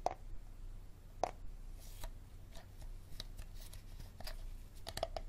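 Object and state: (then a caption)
Hard plastic water bottle. A hard plastic water bottle is tapped and scratched, giving sharp clicks with a mid-pitched knock near 700 Hz. Light scratching and brushing noise runs between the taps over a low background hum. Each tap is brief and dies away almost at once.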